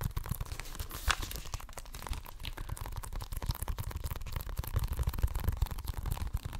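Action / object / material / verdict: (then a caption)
scrape / plastic video game case / plastic / none. Fingertips and nails tap and scratch the surface and spine of a hollow plastic Xbox One game case. The result is a dense, continuous stream of quick, dry clicks and scratchy crinkling over a soft, thumpy low body, with short bright accents. The taps grow slightly louder and busier toward the end.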